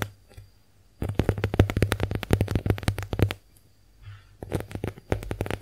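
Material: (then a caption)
Konjac. A small, soft, porous pink heart-shaped konjac face sponge is held in the hands while long acrylic nails tap and scratch its textured surface. Rapid bursts of short, dull taps with a low thump come in two runs separated by a quiet gap with faint scratching.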